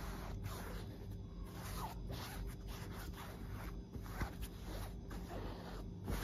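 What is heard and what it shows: A fingertip and long nail scratch along a puffy white quilted fabric duvet and its seams. A steady, soft rasping scrape comes in repeated strokes, with brief sharper catches, over a low hum.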